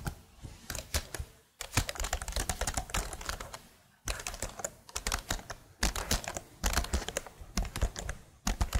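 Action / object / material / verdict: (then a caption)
tap / plastic laptop keyboard keycaps / plastic / none. Fingernails tap and type on the keycaps of a plastic laptop keyboard held above the microphone. Quick bursts of sharp, bright plastic clicks with short dull thuds run in dense flurries, broken by brief near-silent pauses. Each click dies away almost at once.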